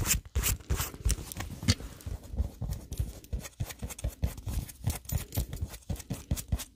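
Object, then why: Soft polyurethane foam squishy toy. An unwrapped, hand-sized, milk-bottle-shaped squishy made of solid polyurethane foam with a painted surface is held up in the hands and tapped and scratched with long nails. A steady run of soft, dull, low thumps stops dead with no ring, mixed with brief bright scratchy rasps.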